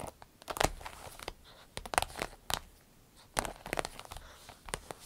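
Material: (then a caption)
Vinyl. Fingernails tap and scratch the top of a small striped glossy vinyl zippered pouch, with some crinkling squeezes. Sharp, dry ticks and scratchy bright bursts come in scattered clusters, each dying away almost instantly between quiet gaps.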